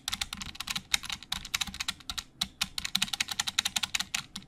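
Both hands type with their fingertips on a black plastic Logitech keyboard with hollow plastic keys. About 28 rapid, bright, clicky keystrokes clatter over 4.5 seconds. Each one is a short, crisp tap centred near 3.8 kHz with almost no low end or ring.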